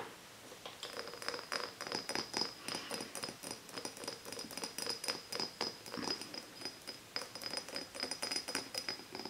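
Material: Glass.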